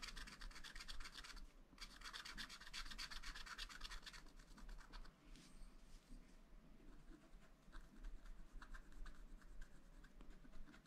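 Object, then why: Wax-coated scratch-art paper scratched with a wooden stylus. A wooden stylus scratches lines into a black coated sheet on a scratch-art paper pad, making quick, bright rasping strokes in rapid bursts. A steady low hum runs underneath, and the scratching softens and thins out toward the end.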